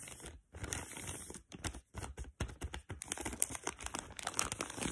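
Long pink fingernails scratch and pinch the thin plastic of a black printed tealight bag full of tealights. Crisp, bright crinkling and rustling comes in quick bursts, separated by short silent gaps.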